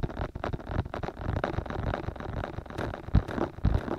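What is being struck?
Soft silicone ear of a binaural microphone.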